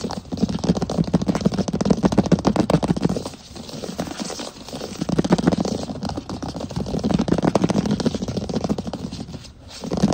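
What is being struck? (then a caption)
Solid wood plank floor. Fingertips and short fingernails of both hands rapidly tap and scratch a large solid wood plank floor. The dense, uneven patter of dull, woody knocks is mixed with scratchy rasping. It eases briefly around the middle and again near the end before picking back up.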